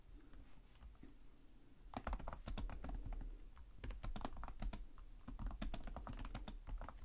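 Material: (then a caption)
Plastic. Fingertips type steadily on the plastic chiclet keys of a black laptop keyboard. After about two seconds of quiet low hum, a fast run of short, bright plastic clicks and taps begins and continues to the end over a steady low rumble.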